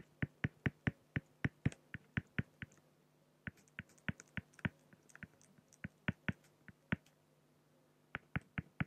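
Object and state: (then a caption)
Acrylic sheet marked with a pen. A pen makes short, scratchy strokes on a flat, solid acrylic (plexiglass) sheet. Crisp, clicky ticks come in quick runs separated by brief pauses, each one sharp and dying away almost instantly. A faint, steady low hum sits underneath.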